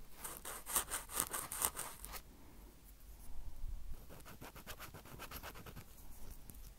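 Two crossed cotton swabs held in fingertips rub and tap quickly on top of the hollow metal mesh microphone grilles of a small Roland recorder. The result is a fast, soft, scratchy patter with bright crackly edges, louder in the first two seconds, then quieter rubbing before more rapid scratching resumes.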